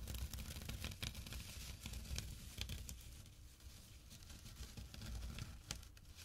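Fingertips and short nails scratch the woven fabric of a small, empty jute burlap drawstring pouch resting on dark cloth. The result is quiet, dry, irregular scratching and crinkling with sharp, bright rasps over a soft low rumble.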